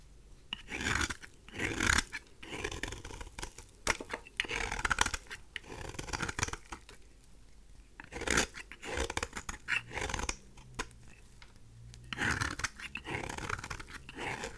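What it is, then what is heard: Dry bar soap being scraped. A craft knife blade held in the fingers scrapes and cuts the surface of a pink, rectangular bar of dry rose soap. Bursts of dry, crunchy scraping with a bright, gritty hiss come in repeated strokes, separated by short quiet pauses.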